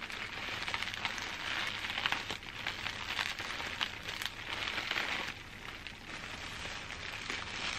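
A large bundle of clear plastic bubble wrap is squeezed and scratched with long dark nails and fingertips. It makes a steady, dense, bright crinkling and crackling with small sharp ticks throughout and almost no low end.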